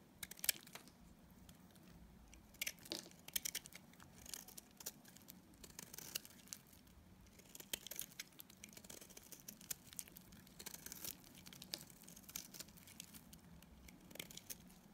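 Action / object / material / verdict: scrape / bar of soap shaved with a metal blade / soap / none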